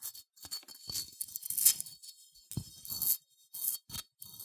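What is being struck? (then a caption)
Unglazed ceramic figurine scratched by fingernails. Long nails scratch slowly across a small cream, matte, unglazed ceramic sheep figurine with a bumpy wool texture, held in the hand. The result is a series of dry, bright, raspy scratching bursts with short pauses between them, mostly high-pitched with very little low end.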